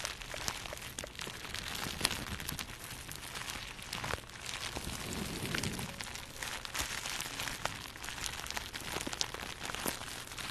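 A small wad of plastic bubble wrap, held in both hands above the mic, is crinkled and squeezed with fingertips and long nails. A steady, bright crackling rustle is heard throughout, dotted with sharp little clicks and snaps.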